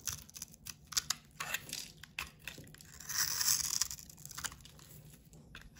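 Bright, crumbly scraping and crunching as a snap-off utility knife blade shaves a solid, hand-sized bar of soap with a blue painted coating held in the palm. The sound comes in quick, irregular strokes, with a louder, sustained scrape in the middle, and leaves crumbly shavings.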